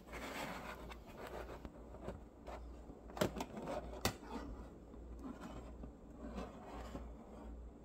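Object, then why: Stack of small nickel-plated neodymium block magnets. Fingertips and thumbnails rub and slide along the ridged edges of a long row of small, thin, solid, silver nickel-plated neodymium block magnets stacked face to face on a mirrored metal plate. A soft, continuous scratchy rubbing plays over a steady low hum, broken by a few sharp, bright metallic clicks near the middle.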